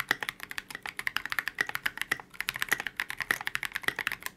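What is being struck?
Polycarbonate mechanical keyboard.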